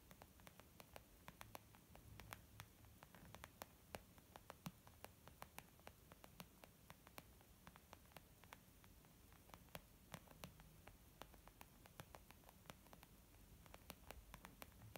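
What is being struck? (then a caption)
Leather zip makeup bag. Long painted nails and the fingertips of both hands tap rapidly across a flat, hollow, white textured leather zip makeup bag. Quick, sharp clicks with almost no ring are scattered over a quiet, steady low hiss and hum.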